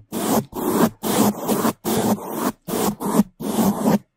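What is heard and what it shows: Bamboo toothbrushes held in gloved hands scrub fast over the sides and top of a black foam microphone windscreen. The result is seven loud, dry, rustling bursts of broadband scratching separated by brief silences, with a low hum-like body around 200 Hz.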